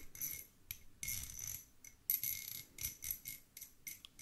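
Two small solid threaded steel screws held in fingertips are scraped and clinked against each other, giving a quiet series of bright, high metallic scrapes and short ticks. The bursts come in uneven clusters with brief pauses between them, each sound dying away almost at once.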